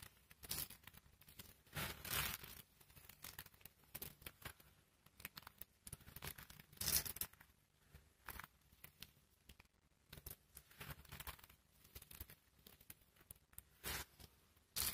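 A large pile of pink dry soap flakes is scrunched and crushed by fingertips and palms. The result is a steady series of dry, crinkly crunches and crackles, with bright, papery texture and occasional louder bursts among quieter rustling.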